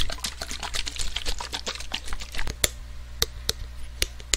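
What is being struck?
Aluminium spray can.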